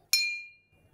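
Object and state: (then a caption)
Drinking glass struck. A drinking glass is tapped once, giving a single bright clink with a high ringing tone that fades over about half a second. A faint low rumble follows near the end.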